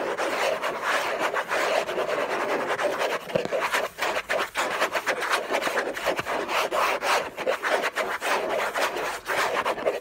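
Fingers and nails scratch and rub hard across the hollow lid of an orange Hermès cardboard gift box. The result is a dense, papery rasping with many quick, uneven strokes, centred in the midrange with some bright edge.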